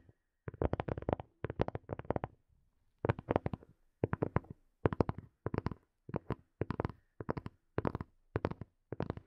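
Fingertips and nails tap a small, hollow black plastic earphone case in quick bursts of dry, clicky taps with a hollow low thump. The taps come in rapid clusters separated by brief silences, with a longer quiet gap early on, and each tap stops instantly with no ring.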